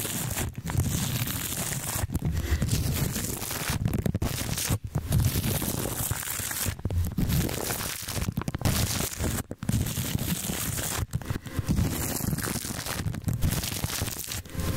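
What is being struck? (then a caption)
Plastic cling film stretched over a microphone grille. A wooden-handled paintbrush with soft bristles brushes and rubs back and forth over thin, crinkly clear plastic cling film stretched loosely across the metal grille of a large silver desktop microphone. Dense crinkling and tearing-like rustles run continuously, heavy in low rumble, with a few brief dips between strokes.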